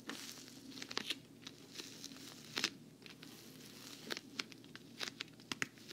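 Long nails tap and scratch the side panel of a hollow black glossy patent vinyl travel case with a handle. Quick, bright clicks and crinkly scratches come in irregular bursts over a soft, steady hiss. Each tap stops dead with no ring.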